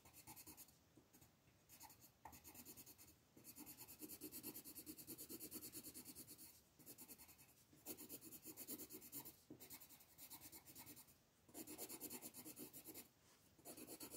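A colored pencil rubs across a flat paper coloring book page lying on a table, making fast, rasping shading strokes. The dry, scratchy texture comes in bursts of rapid back-and-forth strokes separated by brief pauses.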